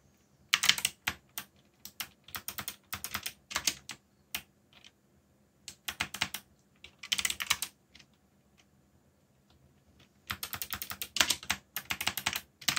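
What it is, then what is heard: Mechanical keyboard with plastic keycaps. Fingertips type on the plastic keycaps of a black backlit mechanical keyboard, producing bursts of quick, bright clicks. The typing comes in uneven runs separated by short pauses, with a quiet gap around 8 to 10 seconds before a final dense flurry of keystrokes.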